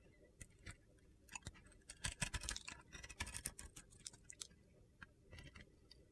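A solid soap bar with a glitter coating, held in the hand and rotated to its side, is scraped with a metal box-cutter blade that shaves off crumbly flakes. The result is a quiet run of short, dry, crunchy scrapes and gritty ticks with bright, crisp edges, a few louder bursts clustered in the middle, and very little ring after each stroke.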